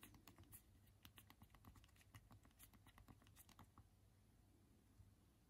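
Two thumbs type quickly on the small physical plastic keys of a Unihertz Titan smartphone held in both hands in dim light. The result is a dense stream of short, clicky taps with bright tops over a low background hum, and the typing thins out after about four seconds.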